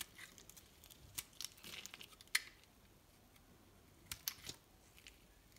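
A solid pink bar of soap is held in the hand and shaved with a metal knife, thin flakes and curls falling away as it is carved. Quiet, bright, crisp scraping and crackling comes in short bursts, with a few sharp ticks standing out over a faint hiss.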